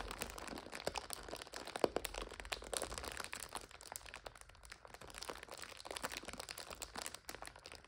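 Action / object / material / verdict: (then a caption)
scrape / plastic film multipack of instant noodles / plastic film / none. Hands squeeze and crinkle a full plastic multipack of instant noodles while long nails scratch the film. The result is a continuous, dense stream of bright, crisp crackles and crunches with short, sharp pops and very little low end.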